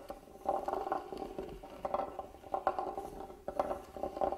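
A hand-carved, hollow wooden box lying flat has its carved lid scratched with a small black tool. The result is bursts of dry, rasping scratches with a hollow, boxy tone centered in the mids and little low or high content. The strokes come in uneven clusters and stop quickly with almost no ring.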